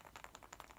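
A bath ball (bath bomb) with a toy hidden inside is shaken, giving seven quick, light, bright clicks of a clattering rattle. The rattle shows the toy is loose inside.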